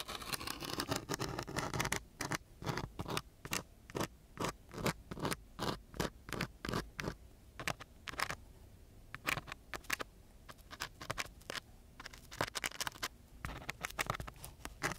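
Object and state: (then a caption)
Sandpaper scratched with a wooden stick. A striped wooden stick scratches back and forth across the grit of a coarse brown sandpaper sheet in repeated strokes. The first two seconds are a dense, continuous rasp. After that come distinct, irregular bursts of broadband scraping noise reaching into the high range, with quiet gaps between them.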